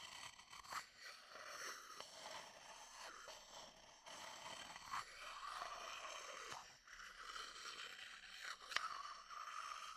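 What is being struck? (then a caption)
Empty wooden bowl with a thin wooden stick. A thin wooden stick scrapes and taps along the inner wall of a medium, empty wooden bowl held close to the mic. Continuous dry scraping with a hollow tone around 1.2 kHz and bright high detail runs through the clip. Sharp, short taps are heard, including two distinct clicks near 5 and 8.8 seconds.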